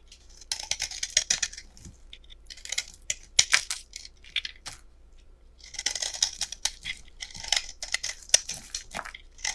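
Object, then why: Bar of soap scraped with a metal blade. A solid peach-colored rectangular bar of soap, held in both hands, is chipped and scraped with a metal utility knife blade, and flakes break off. The result is dense bursts of bright, crisp scratching and sharp clicking with almost no low end, in two busy stretches separated by a quieter pause in the middle.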